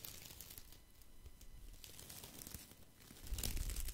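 A handful of thin wooden sticks, like chopsticks or skewers, is held in one hand and rubbed and rattled together by the fingers close to the mic. Soft, dry crackling and scratchy clicking run steadily over a low rumble, then grow into a louder, brighter clatter near the end.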